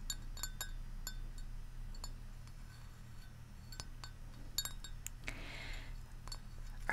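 Long manicured nails tap repeatedly on the rim of a large white ceramic Central Perk mug with a yellow glazed interior, hollow and partly filled with tea. Each tap is a bright, short clink that dies away quickly, over a steady low hum, with a brief soft rustle near the end.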